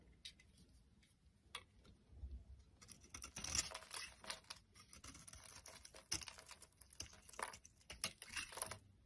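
A solid orange Fa soap bar is held in the hand and carved with a box-cutter blade into shavings. Quiet, bright, crisp scraping and crackling strokes come sparsely at first, then grow denser and louder from about three seconds on, each cut ending almost instantly with no ring.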